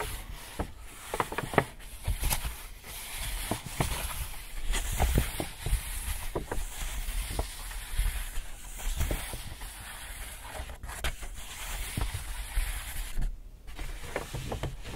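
An empty white Hudson's Bay paper shopping bag is held from behind while fingers gently rub and tap the paper. Soft, continuous crinkling and hissy rustling runs throughout, broken by light, dull taps and a faint low rumble underneath.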